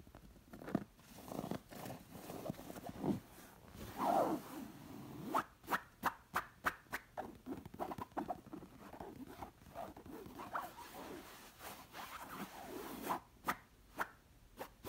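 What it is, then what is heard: Cotton pillow scratched with nails. Long nails scratch the soft stuffed surface of a round, fringed, embroidered cotton pillow, mostly its plain white fabric back. Soft, low-mid rustling scratches are broken up by sharp, quick-decaying ticks that cluster around the middle and the end of the clip.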